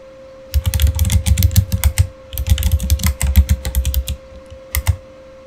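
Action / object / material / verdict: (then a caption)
tap / plastic mechanical keyboard / plastic / none. Both hands type with their fingertips on a backlit Razer Fire mechanical keyboard with plastic keycaps. Two runs of quick, deep, thocky key clacks are broken by a short pause, and a last pair of keystrokes follows near the end. A faint steady tone hums underneath throughout.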